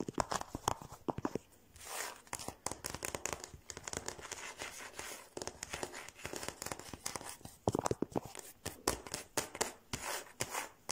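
Fingertips and short nails tap and scratch along the solid flat top of a large glossy varnished wooden dining table with visible grain. Quick, dry, clicking taps come in fast bursts, mixed with brief bright scratching swipes. Each tap dies away almost instantly.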